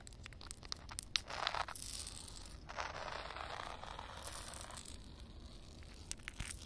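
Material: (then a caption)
Concrete. Long dark-red acrylic nails tap and scratch a flat outdoor concrete slab covered with a thin film of water. Sharp, bright clicks are scattered between longer gritty, hissing scrapes that carry mostly high, crackly texture with little low end. The surface sounds solid.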